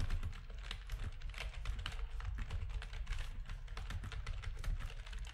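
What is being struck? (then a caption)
Plastic computer keyboard. A full-size black plastic backlit RGB gaming keyboard with a hollow housing is typed on rapidly with the fingertips of both hands. Quick, dense clacking key presses run without pause over a deep, hollow low-end thud, with bright, crisp clicks on top of each stroke.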